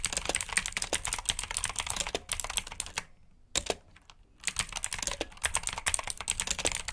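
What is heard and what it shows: Two hands type with their fingertips on a black plastic backlit mechanical keyboard with blue switches, producing rapid, bright, crisp clicks. The clicks stop briefly near the middle of the clip, with a single keystroke during the pause, and then the typing resumes.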